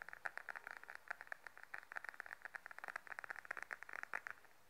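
Long nails tap and scratch a small beige glossy patent faux leather wallet held upright, giving a quick, irregular run of dry clicks with a bright band around 1.5 kHz. The taps die out almost at once over a low hiss.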